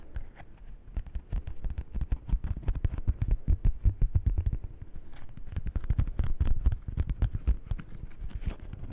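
A single thin coated paper playing card from the heart suit is held in both hands in front of the microphones and scratched and tapped with fingernails. Rapid, dense, short dry taps and scratches carry mostly low, thumpy energy with faint brighter clicks on top, and they keep up steadily throughout.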